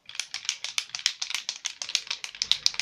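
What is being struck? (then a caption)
Small glass nail polish bottle. A glass bottle of nail polish with glitter in it is shaken before use, giving a quick run of about 19 bright, clicking rattles. Each rattle is sharp and dry and dies away almost at once, with the sound sitting high and almost no low end.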